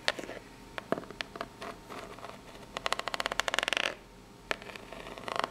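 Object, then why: Corrugated cardboard box. Long pink-polished fingernails scratch across the ribs of a tilted, flat-lying corrugated cardboard box that seems empty and hollow. Dry, bright clicks and scratchy rasps come in scattered taps and then a quick rippling run as the nails drag over the corrugation, with brief pauses of quiet between bursts.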